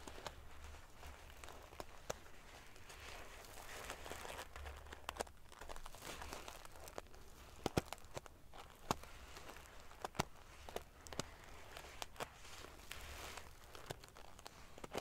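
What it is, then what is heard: Metal-sequin covered pillow being scratched. Long nails scratch the rows of silver metal sequin pieces near the top of a large padded pillow, making a steady crinkling, scratchy rustle. Sharp little clicks and ticks pop out here and there over a faint low hum.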